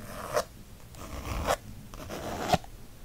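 Fingernails scratch the textured faux leather cover of a disc-bound planner printed with book spines. Three fast, dry rasping strokes are heard, each ending in a sharper scrape.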